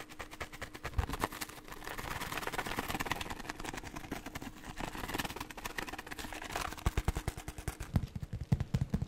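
A small, hand-sized red and white cardboard tobacco box, hollow and apparently holding something, is held in one hand, handled with the fingertips and shaken close to the microphone. The result is a rapid stream of soft, dry, low-heavy rattles and taps with a scratchy rustle through the middle. It ends in sharper, more separated knocks.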